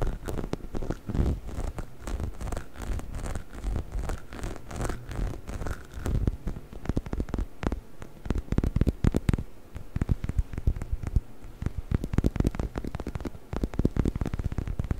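A hollow, orange, textured rubber chicken toy is held upright in front of a microphone and scratched with fingertips and nails. The result is a dense, continuous run of quick, dry scratching and tapping sounds with a soft, low-heavy body and no ringing tail. The scratching grows sharper and more clipped in the second half.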